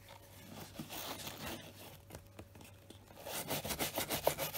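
A hand-held bristle brush with a wooden back is stroked over the toe and side of a hollow tan leather brogue boot. Soft rubbing swishes build into quicker, louder, rhythmic brushing strokes toward the end, each a bright, dry scratchy hiss.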